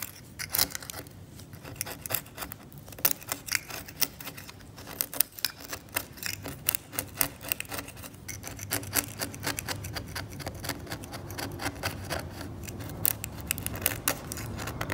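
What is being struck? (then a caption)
Varnished oil painting on canvas scraped with a steel scalpel blade. A steel scalpel blade scrapes the cracked varnish of a varnished oil painting on canvas in short strokes. The result is a fast series of dry, scratchy clicks and rasps with bright, high edges over a low rustle, each stroke dying out almost instantly.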